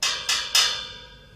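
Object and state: Sound steel tower leg.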